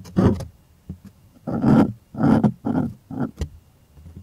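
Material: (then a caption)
Cotton canvas. Fingers scratch taut white stretched cotton art canvas on a wooden frame, making rough, breathy scraping strokes in the low and middle range. Longer sweeping scratches alternate with short, sharper taps, separated by near-silent pauses.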